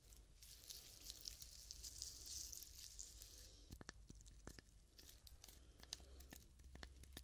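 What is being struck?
Whole coconut with fibrous husk.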